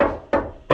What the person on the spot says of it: if you listen to this floor, it echoes a lot when you knock on it.